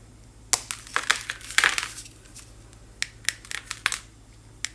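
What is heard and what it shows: A thin slab of white, chalk-like powder block is crushed in both hands, with fingertips and nails breaking it into powder that falls away. Sharp, dry, bright crunches and crumbly crackles come in a dense burst over the first two seconds, then sparser single snaps follow. Each snap dies out almost at once, with quiet hiss between them.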